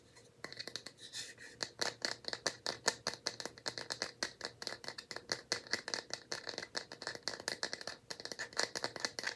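A small, light bamboo box held in both hands is tapped with nails and fingertips and rattled. It makes a steady run of quick, dry, bright clicks and taps with almost no ring or low end, continuing evenly for about nine seconds.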